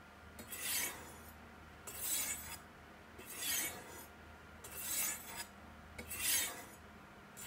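A steel chef's knife is stroked down two white triangular ceramic rods set in a V in a black plastic Sharpmaker base, held steady by hand. Five bright, rasping scrapes of steel on solid ceramic come at a slow, even pace, each swelling and fading with quiet pauses between.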